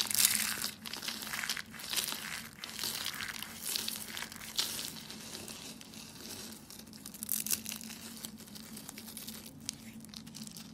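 Pink and white brittle dry soap curls are crushed and crumbled between the fingers into a pile of soap flakes. Dense, bright crinkling crunches come in irregular bursts over a faint low steady hum.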